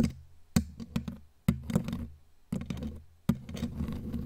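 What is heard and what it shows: Long, pointed, glitter-covered claw nails tap and knock on the hollow metal mesh head of a bare black microphone, with the hands held close around the grille. The result is a series of dull, boomy knocks that are heavy in the low end and die away almost at once, some followed by quick clusters of lighter taps and a soft, rustling scrape.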